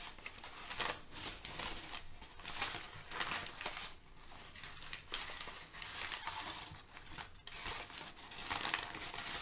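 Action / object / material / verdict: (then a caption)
scrape / thin kraft paper / paper / none. Thin brown kraft packing paper is crumpled, gathered, crinkled and spread out by both hands. A dense, bright crackling crinkle runs throughout, swelling and easing in waves with sharp papery snaps.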